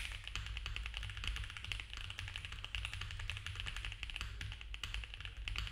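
A compact mechanical keyboard with cream ABS plastic keycaps on a dark case, with a polycarbonate plate and foam filling, is typed on fast by both hands' fingertips. The result is a rapid, dense stream of short, bright clacks over a steady low hum.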